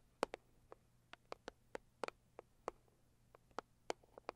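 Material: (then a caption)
Cardboard. Long acrylic nails from both hands tap irregularly on a hollow, medium pink floral Saviland cardboard gift box. The taps are short, dry and quiet, with a mid-pitched papery knock around 500 Hz that dies out almost instantly. A faint low hum runs underneath.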